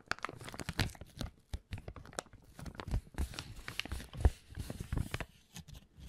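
An empty, small, thin, transparent plastic zip-lock bag is scrunched and rubbed between the fingers in front of the recorder. It makes dense, irregular crinkling and crackling bursts with soft low thumps, and each snap dies away almost at once. Quieter rustles fill the gaps between the louder crunches throughout.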